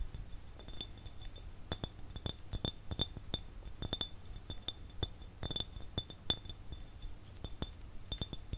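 An empty, hollow, clear glass jar is tapped with fingertips and fingernails close to the mic, producing a steady series of quick, bright clinks. Each tap has a glassy ring near 3.5 kHz that dies away almost at once, over a faint low rumble.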